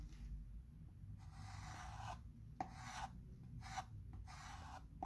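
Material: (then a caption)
Chalk. A chalk pencil retraces letters on the surface of a flat wood-framed chalkboard with firm scratching strokes. Quiet, raspy bursts of scratching come and go over a low background hum, with short pauses between strokes.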